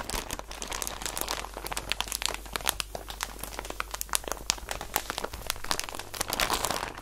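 A clear plastic packaging bag filled with about 100 soft cotton balls, full and held in both hands with long painted nails, is squeezed and crinkled. Dense, bright crackling and crunching from the plastic runs continuously over a faint steady low hum.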